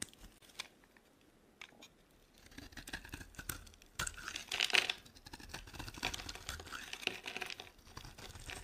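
A dry, solid pink Duru soap bar held in the hand is shaved with a utility knife blade, making bright, dry scraping and cutting sounds. After a quiet start with a few faint scrapes, the shaving grows denser from about two and a half seconds. It peaks in a louder, crackly burst of cuts around four to five seconds, then continues in steady rasping strokes to the end.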